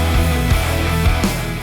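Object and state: Nothing is struck.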